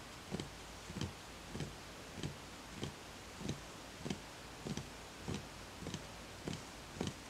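Fingertips tap the outer wall of a small, empty, hollow wooden bowl with visible grain, in a slow, fairly even series. Each tap is a soft, dull, hollow knock with a low body and a faint bright click, fading quickly against a quiet background.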